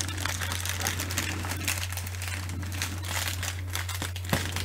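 Long manicured nails and fingertips scratch and crinkle the surface of a large clear plastic bubble wrap sheet with air-filled bubbles. The result is a steady, bright, dense crinkling and scratching over a constant low hum, with one sharper snap near the end.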